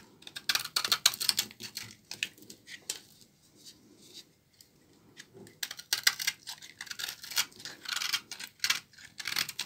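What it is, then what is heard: Dry laundry soap bar being scraped. A blade scrapes brittle shavings off a solid, partly cut bar of dry laundry soap held in the hand. Dense bursts of short, bright, crackly scraping come in fast clusters, with a quieter pause in the middle before the scraping picks up again.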